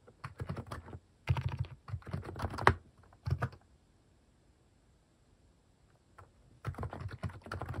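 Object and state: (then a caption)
Plastic mechanical keyboard. Fingertip key presses on a plastic mechanical keyboard with cat keycaps, typed in short bursts. Quick, dull clicks with a low, thocky body come in clusters, separated by pauses of near silence, including a long quiet gap before the typing resumes at the end.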